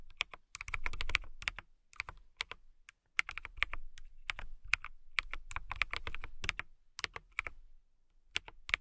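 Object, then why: Acrylic mechanical keyboard. Long nails and fingertips type on a compact transparent acrylic mechanical keyboard with clear plastic keycaps and a clear case. Rapid bursts of bright, sharp clicks and clacks over soft low thumps come in uneven runs with brief pauses, each keystroke dying away almost instantly.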